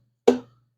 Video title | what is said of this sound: Episode 117. Taking out the China lifters out of a 5.7 eagle hemi. | I take a body hammer like this and I tap on it. See if there's a different sound, you know, to see if I can tell if something's loose.